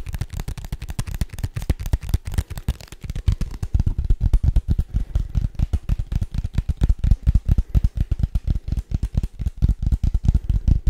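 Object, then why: Small rigid paperboard box. A small, hollow, rigid white paperboard box is tapped quickly with the fingertips. It gives a fast, steady stream of dull, low, boomy thuds that stop almost instantly, with little high-end content, continuing for about 11 seconds.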